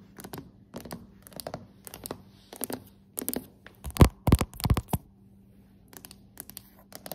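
Long decorated acrylic nails tap and scratch on solid dark hardwood floorboards, making quick, uneven clusters of short, dull knocks and clicky scrapes that die away almost instantly. The tapping builds to its loudest, densest burst near the middle of the clip, then falls back to sparse, soft taps over a faint steady low hum.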